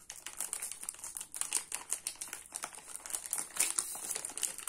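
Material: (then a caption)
Foil, paper. Fingertips and nails peel, tear and crinkle the blue foil-and-paper wrapper of a Nivea soap multipack with solid bars inside. The result is a steady run of sharp, bright crackles and crinkles with almost no low end, each snap dying away almost instantly.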